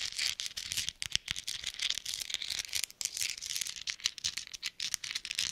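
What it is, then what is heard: Metal thimbles. Small hollow metal thimbles worn on gloved fingertips are tapped and clicked together close to the microphone. The result is a dense, irregular stream of crisp, bright metallic clicks and rattles with almost no low end and no lingering ring.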